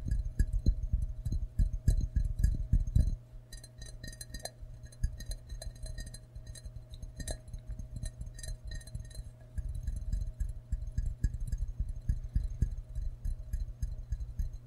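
A ceramic frog mug is held upside down while fingertips and nails tap its white base with printed text. Quick, irregular taps give dull, low knocks with faint bright clicks, loud and dense for the first three seconds, softer in the middle, then stronger again toward the end. Each tap dies away almost at once under a steady low hum.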